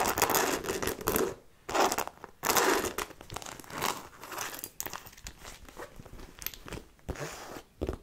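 Long nails scratch and tap the fabric panel of a hollow black logo-fabric handbag with faux-leather trim and metal buckles, held up near the face. Bright, dry scratching bursts come in uneven waves between quieter stretches of light, crinkly tapping, with very little low end.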